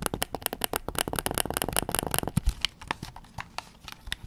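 Fingertips and nails tap the back of a white PS5 DualSense controller, a hand-sized hollow hard plastic shell held up in the air. A fast, dense run of short, dry clicking taps with bright edges fills the first half, then the taps turn sparser and softer. Each tap dies away almost at once with no ringing.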